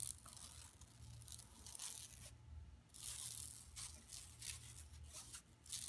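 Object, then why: Woven plastic mesh bag. Long nails scratch across a flat, empty yellow woven plastic mesh tote bag lying on carpet. The result is a run of bright, dry rasping and crackling strokes in irregular bursts over a steady low hum, with a short quiet pause near the middle.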